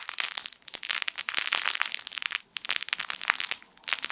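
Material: Plastic film.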